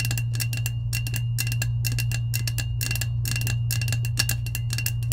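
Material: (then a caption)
Stainless steel. Long acrylic nails rapidly tap and scratch the side of a lilac, hollow, insulated powder-coated stainless steel tumbler held close. The result is a quick stream of bright, clicky metallic taps with a faint ring near 2.7 kHz. A steady low hum runs underneath throughout.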